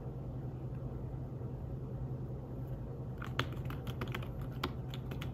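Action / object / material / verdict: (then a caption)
tap / fabric-covered tablet keyboard / fabric / none. Fingertips with short nails tap rapidly on a slim, flat, fabric-covered tablet keyboard in the iPad Smart Keyboard style, resting on a table. After about three seconds of a steady low hum, a quick run of soft, muted clicks starts; each tap is short and dry with a brighter tick on top.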